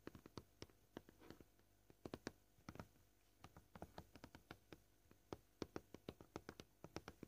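A flat white plastic cutting board with fine knife scratches, a solid slab lying flat on a table, is tapped gently with short purple-painted fingernails at a varying pace, fast then slow. Around 35 quiet, short, dry taps sound in irregular bursts, each dying away almost instantly with no ringing.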